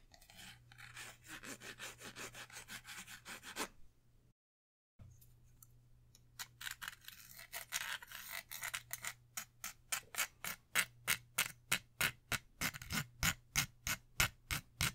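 Long manicured nails scratch and tap along an orange, pill-shaped Beats Pill speaker, a hollow plastic body about 20 cm long with a soft-touch coating, held in both hands. A bright, hissy scratching runs for about four seconds, drops out briefly, then gives way to crisp, short taps that grow louder and settle into a fast, fairly steady ticking. A faint low hum sits underneath throughout.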